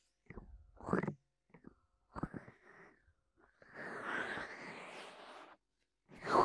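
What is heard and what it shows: Fingertips of both hands tap and press over the ear openings of a white binaural microphone with hollow silicone ears on a black plastic body. Short, muffled thumping bursts come up close, followed by a longer rushing, rubbing stretch where the fingers stay pressed over the ears. The clip ends with one more loud muffled tap.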